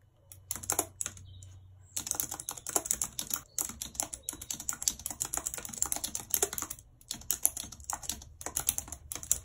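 Long red nails type on a white plastic computer keyboard, clicking the plastic keys in quick, uneven bursts. The taps are short, bright plastic clicks with a faint low hum underneath at the start, broken by brief pauses between runs of typing.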